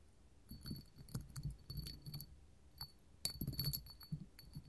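A small, clear, hollow hobnail glass candle holder standing on a table is tapped with long gold metal finger claws. The taps come as a scattered run of quick, bright glassy clicks and clinks. Each has a sharp high ringing edge that dies away almost at once, over a soft low rumble.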